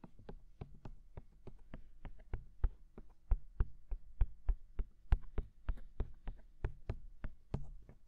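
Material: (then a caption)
Silicone. Fingertips tap quickly on the silicone dummy ears of a binaural microphone, producing a quiet, uneven series of short, dull thumps. Each tap is a deep, muffled knock that stops almost instantly, with faint bright clicks at the moment of contact.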